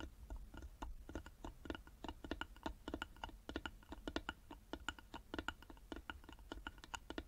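Long nails tap rapidly on the sides of a small, hollow carved wooden box held in both hands. The result is a quick, uneven stream of short, dry clicks with a hollow knock and a wooden tone around 1.4 kHz. Each tap dies away almost instantly over a faint low rumble.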